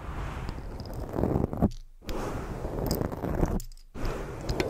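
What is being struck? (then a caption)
Foam microphone windscreen. Fingers rub a black foam microphone windscreen while long fake nails scratch across it, making a dense, muffled, low-heavy rustling and scraping. The scratching swells in bursts, with two brief near-silent pauses before it resumes.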